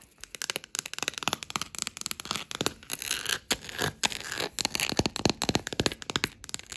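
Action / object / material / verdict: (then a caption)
tap / wooden table top tapped and scratched with long nails / wood / none. Green claws and long grey nails tap and scratch across a solid, dark wood-grain table top. The result is a rapid run of short, dry, bright clicks, broken by denser scraping bursts in the middle.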